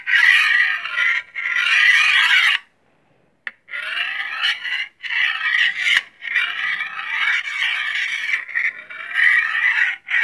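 A long solid steel chef's knife is stroked along a steel honing rod held in the other hand, giving repeated metal-on-metal scraping strokes. Each stroke is a bright, rasping hiss centred around 2 kHz, with a brief silent pause and a sharp tick partway through.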